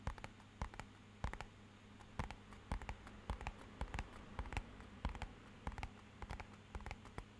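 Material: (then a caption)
Paperboard. Fingernails tap irregularly on a small, rigid, hollow, matte-black rectangular cardboard box that is held tilted. The result is a patter of short, sharp clicks with a dull, hollow low thump, over a faint steady low hum.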